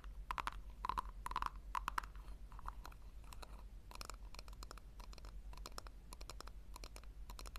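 Long nails scratch the rim and tap the sides of a small, round, hollow pink plastic tub. The result is quiet, dense bursts of quick clicks and scratches with a sharp ringing tone near 1 kHz and bright edges. A steady low hum runs underneath throughout.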